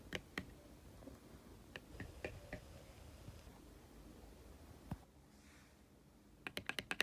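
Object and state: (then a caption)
Laminated cardboard board book. Fingertips and short nails tap and scratch across the glossy laminated thick-cardboard cover of a small closed Disney Ariel board book lying flat on a grey carpet. Sharp, dry clicks with a bright edge near 2 kHz come in scattered single taps over a faint scratchy hiss, then a quick run of taps at the end. Each tap dies away almost instantly.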